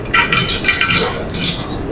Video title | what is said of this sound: Palak Pakora Recipe - آلو کے پکوڑے -Make & Store Pakora For Ramdan -by Chef Farrukh | can tell by the sound how crispy they are